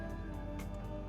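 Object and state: Nothing is struck.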